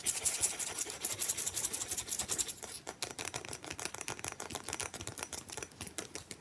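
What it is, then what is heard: Ice chunk. Long fingernails quickly scratch and tap an irregular, clear, solid, hand-sized block of ice held upright on a towel. The result is a dense run of sharp, bright clicks and scrapes, louder and scratchier for the first two and a half seconds, then quieter and more evenly spaced taps.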